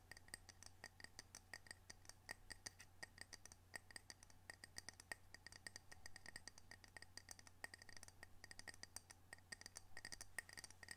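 A ceramic coaster from Camano Island, Washington, decorated with orcas, is tapped and scratched in quick, irregular strokes. The sharp, short clicks carry a bright ring near 1.9 kHz over a faint, steady low hum.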